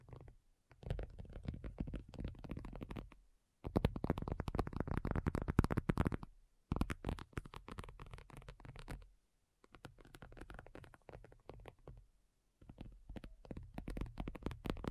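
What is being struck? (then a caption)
Faux leather tablet cover. Long nails on both hands tap and scratch a thin, hollow-backed black folding faux leather iPad cover lying flat. Rapid bursts of soft, dull, hollow thumps with a deep, muffled body and faint scratchy texture come in clusters separated by short pauses, and each tap dies away almost instantly.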